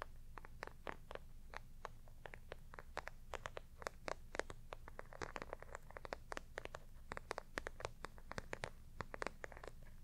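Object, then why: Embossed faux leather clutch. Long nails on both hands scratch and tap a flat, hollow, black glossy clutch of bumpy embossed faux leather. Dozens of quick, dry, crackly scratches and clicks follow one another in an uneven stream, each dying away almost instantly. Beneath them runs a steady low hum.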